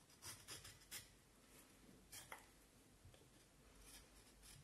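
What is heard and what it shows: A black-handled carving knife scrapes and shaves a hand-held, forearm-length solid vine wood stick with partly peeled bark in short strokes. Six quick, bright, raspy scrapes stand out, bunched near the start and middle, over a low, quiet background. Each stroke stops dry with almost no ring.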